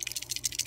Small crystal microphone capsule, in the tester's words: I'm shaking it as I hope you can hear the guts the element is damaged in it